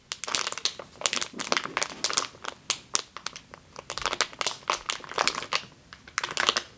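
Long green nails squeeze a medium clear plastic bag with a yellow label, full of flour or grain, which is then lifted at the end. The result is a steady run of bright, dry crinkles and crackles with sharp, quickly fading bursts and almost no low end.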